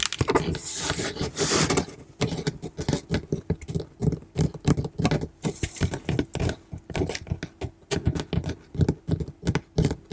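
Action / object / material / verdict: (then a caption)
tap / corrugated cardboard shipping box / cardboard / none. Long manicured nails tap and scratch the flat front face of a large, closed, hollow corrugated cardboard shipping box sealed with clear tape and held upright. It opens with a stretch of dry, hissy scratching across the surface. This gives way to a steady run of quick, soft, low hollow taps that fade almost instantly.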